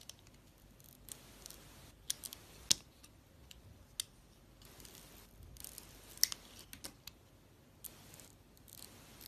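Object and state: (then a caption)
Soap bar carved with a blade. A utility-knife blade shaves and carves a palm-sized solid soap bar, orange with purple and cream swirls, held in the hand. Soft, bright scraping and scratching is broken by sharp, dry crisp clicks of the metal blade cutting into the soap, at an irregular pace over a quiet background.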